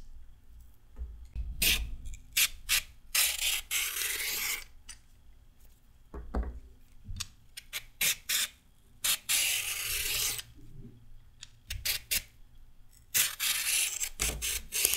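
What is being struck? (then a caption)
Raw carrot scraped with a peeler. A new, long raw carrot is held upright and scraped with a red-handled peeler, with single strips of peel falling onto a wooden table. Irregular bursts of bright, hissy rasping alternate between short quick strokes and longer drawn-out scrapes, with soft low thumps beneath and brief quiet gaps between passes.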